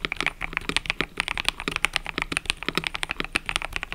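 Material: Plastic.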